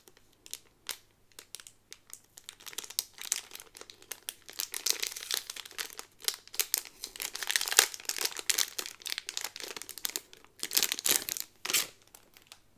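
A Sleeping Beauty dress pin on a pink cardboard card inside a clear plastic bag is turned over while fingertips and nails crinkle the plastic. The result is bright, dry crinkling in rapid short bursts, thickening into a denser, louder stretch through the middle and flaring again near the end.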